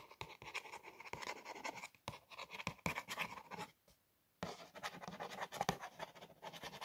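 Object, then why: Printed cardboard cookie box. Long nails trace and scratch along the printed lettering on the small, flat surface of a cardboard Daydream cookie box. The result is a dense run of dry, bright scratching with quick tapping strokes. About four seconds in, it pauses briefly into near silence, then resumes.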